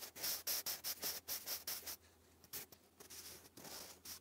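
A sharpened wooden graphite pencil writes English cursive across a thick sheet of grey lined cardstock lying flat. The result is a quick run of bright, scratchy strokes for about two seconds, then a quieter pause with a few more scratches.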